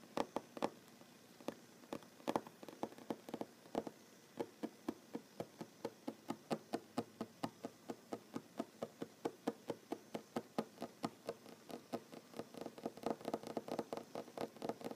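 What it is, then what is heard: Wooden table. Short fingernails tap on a large, solid wooden tabletop, producing a loosely paced stream of about sixty quick, dry knocks. Each tap is woody and mid-pitched, with almost no ring, and is separated by quiet gaps.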